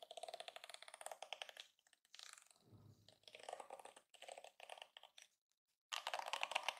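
Fingers drag across and flick the flexible plastic bristles of a hand-sized yellow plastic detangling hairbrush, giving a ratchet-like clicking. Rapid bright clicks come in bursts separated by short pauses, with a softer, lower rustle in the middle before a final dense run of clicks.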